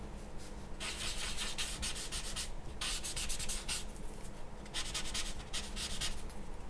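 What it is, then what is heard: Paper drawing sheet being rubbed. A grey blending stump or charcoal tool is rubbed across the charcoal-covered surface of a large white drawing paper sheet lying on a wooden table. Bursts of dry, bright, scratchy rubbing strokes come and go over a steady low hum.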